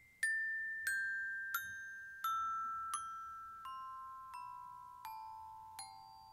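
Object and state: Metal glockenspiel.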